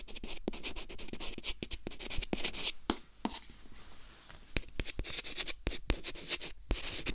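A stick of white chalk is dragged and scratched across a flat green chalkboard panel in a metal frame held by the hand, leaving chalk marks. Bright, gritty scraping strokes come in quick bursts, punctuated by many sharp taps, over a faint steady low hum.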